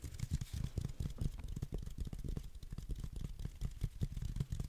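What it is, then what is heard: Velvet-flocked reindeer figurine. A green velvet-flocked reindeer figurine ornament is held in one hand while the fingertips scratch and rub across its fuzzy surface. This makes a dense, quiet stream of soft, muffled scratching bursts that are deep and low, with only faint high hiss. The strokes follow one another rapidly and die away almost at once.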